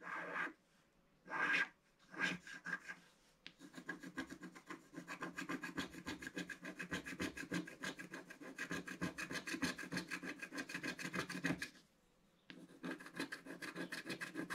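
A wooden stylus scratches and scrapes the black coating on the right-hand petal of a flat black-coated scratch-art card. A few separate rasping strokes are followed by a long run of rapid, steady scraping, a short pause, and more scraping, with a dry, raspy texture and a bright edge.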